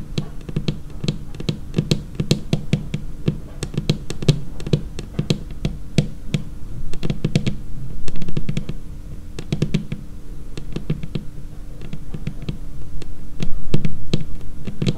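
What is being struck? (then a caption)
Laminated tabletop. Long painted fingernails of both hands tap rapidly and irregularly on a large, solid, dark laminated tabletop. Each tap gives a short, dull low knock with a bright click on top and dies away almost at once, with a louder flurry of taps near the middle and again near the end.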